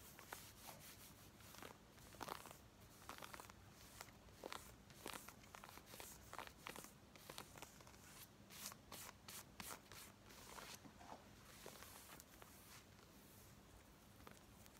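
Long nails scratch quickly across the legs and hip of worn black denim jeans. The result is a dense run of short, dry, bright scrapes and rasps over a faint low hum. The scratches come in quick irregular bursts, with no speech.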